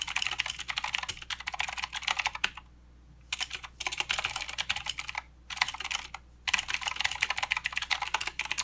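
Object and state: Plastic mechanical keyboard being typed on.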